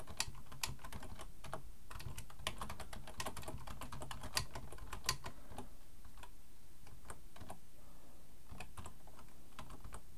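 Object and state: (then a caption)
Plastic computer keyboard being typed on. Both hands type with their fingertips on a black plastic full-size computer keyboard resting on a wooden desk. A steady run of quick, bright key clicks and taps plays over a constant low hum for the whole clip, with a few sharper, louder strikes standing out.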